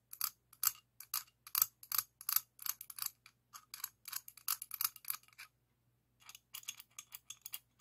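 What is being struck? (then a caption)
Chrome-plated steel adjustable wrench tapped with a steel wrench. A medium, solid chrome-plated steel adjustable wrench is held in one hand while an open-end steel wrench in the other hand rubs and taps against its jaw and worm gear. The result is a quiet, irregular run of bright metallic clicks and short scrapes with almost no ring, pausing briefly before a final cluster of taps.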